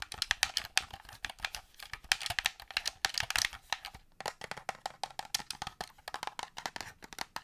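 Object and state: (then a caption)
Plastic game controller. A black plastic Xbox-style gamepad is held in the hand while fingernails tap and click its buttons and shell. The result is a rapid, uneven run of short, dry, bright clicks and taps with almost no low end and no ring.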